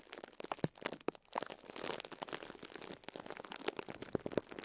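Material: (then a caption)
Plastic film. A fingertip and nail press and squeeze the top of a small pink and yellow foam sponge wrapped in clear cling film, crinkling the plastic. Quiet, dense crinkles and sharp little crackles run throughout, with brief bright snaps standing out over a soft, rustling wash.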